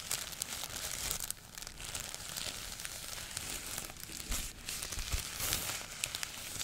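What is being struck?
Thin folded tissue paper sheet.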